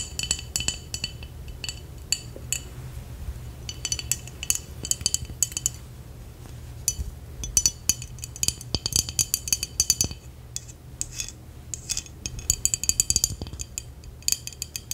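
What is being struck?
Glass jar with liquid.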